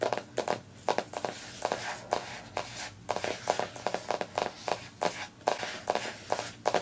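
Long nails tap and scratch the glossy paper dust jacket on the front cover of a solid, closed hardcover poetry book, "The Trouble with Poetry," resting on a couch, then tap its back cover after it is flipped over. The result is a steady run of short, dry, papery clicks with a mid-range knock, linked by soft, scratchy hiss that dies away almost instantly after each tap.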